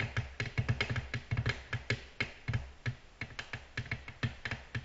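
Both hands tap rapidly on a large, flat, solid, reflective black glass tabletop with long natural nail tips, in a quick typing-like rhythm. Each tap is a short, crisp click with a low, dull thud underneath and almost no ring, in uneven bursts throughout.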